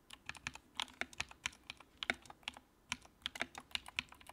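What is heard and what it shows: Fingertips type on the keycaps of a compact white plastic mechanical keyboard with backlight. The result is a steady, irregular stream of short, crisp, bright clicks with almost no low end, each dying away instantly over a quiet background.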